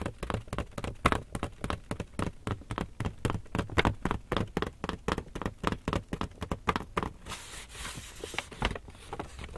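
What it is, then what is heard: Empty paper shopping bag. Fingertips and nails tap and scratch the front panel of a medium-size, hollow, empty black Lush paper shopping bag gripped in both hands. Rapid, irregular, dull papery taps with a low thump come first, then a brighter, hissing scratch near the end mixed with a few more taps.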